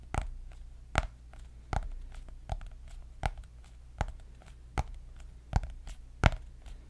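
Long nails tap the cardboard cover of a white hardcover paper notebook with gold dots. Ten short, dry taps land at a steady pace about three-quarters of a second apart. Each tap has a dull low thud with a brief bright click and almost no ring, over a quiet low hum.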